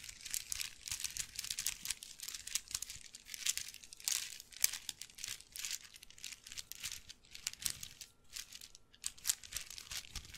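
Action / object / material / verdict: scrape / handbag made of wooden beads / wood / none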